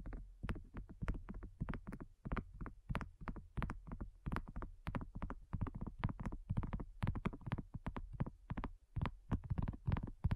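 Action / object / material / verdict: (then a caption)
tap / silicone coaster / silicone / none. Long nails tap quickly and steadily on a flat, round, pink dotted silicone coaster that is thin and solid. The taps are soft, dull and low, each stopping instantly with no ring.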